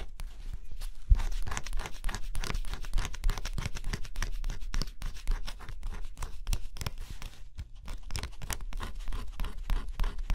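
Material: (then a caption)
Cardboard. A stylus scratches the coating off a flat cardboard scratch-off jigsaw puzzle, making a steady run of short, dry scraping strokes with a low rumble underneath. The strokes come quickly but unevenly, each one brief and bright-edged, with a few louder scrapes along the way.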